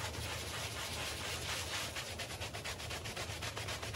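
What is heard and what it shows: A handheld bristle brush scrubs a small patterned woven textile rug covered in soap foam while a palm presses the rug down. The result is a steady, bright, hissing rub of bristles through wet foam that settles into quick, rhythmic back-and-forth strokes, with a faint low rumble underneath.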